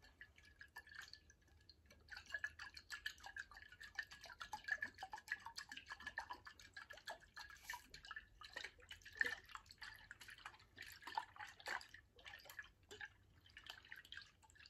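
A tall glass water bottle, held horizontally and partly filled with liquid, is tilted and shaken so the liquid sloshes inside, with some fingernail tapping on the glass. The result is a quiet, dense stream of short, drip-like clicks and trickles with a faint glassy ring near 1.8 kHz.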